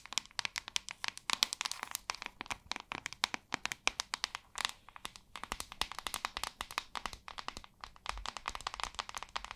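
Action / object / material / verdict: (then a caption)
tap / plastic paddle hairbrush / plastic / none. Long nails rapidly tap and scratch on a white plastic paddle hairbrush with a hollow back and white bristles. The result is a dense run of sharp, bright clicks with almost no low end and no ring, interspersed with faint scratchy rustling.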